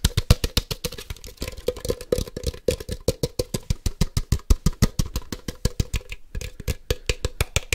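A hand-sized hollow plastic Ultra Ball (Poké Ball) toy is tapped rapidly with fingertips and nails on its white and black shell. The result is a fast, steady stream of sharp, dry clicks with a hollow low thump and a short midrange ring. A brief pause breaks the rhythm near the end.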